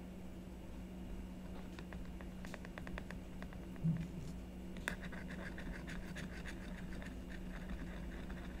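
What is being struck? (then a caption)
Coated scratch-art board on card backing. A book-sized scratch-art etch board, a black coating over a colored layer on a card backing, lies flat on a wooden table while one hand holds it steady and the other scratches lines into it with a wooden-handled stylus. Quick, dry, bright scratching strokes come in bursts over a steady low hum, with a sharper click about two-thirds of the way through before denser scratching continues to the end.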